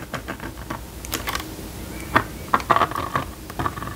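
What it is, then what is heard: Plastic magnetic drawing board. A plastic stylus scratches and taps short strokes on the screen of a small red and yellow plastic magnetic drawing board as it draws a shape. Quick, dry clicks and light scrapes come in an uneven run, with a few sharper taps standing out near the end.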